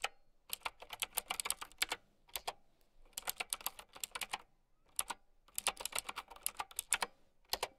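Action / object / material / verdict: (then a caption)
tap / plastic mechanical keyboard with round keycaps / plastic / none. Long nails type on a plastic mechanical keyboard with round keycaps, producing rapid, bright clicky clacks in quick flurries separated by short pauses. Each keystroke is sharp and dry, dying away almost instantly with very little low end.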